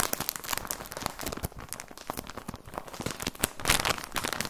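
A plastic package of socks is crinkled and squeezed with the fingertips, giving dense, bright crackling and crinkling that runs throughout. Many quick, sharp crackles follow one another with little ring, growing louder toward the end.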